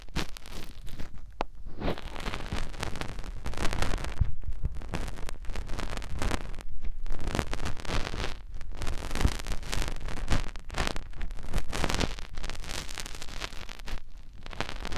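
Fingertips with short nails rub inside the opening of the other silicone ear on the same white binaural microphone. Continuous close rustling and scraping with dense crackly textures, heavy low rumble, and brief quieter pauses between strokes.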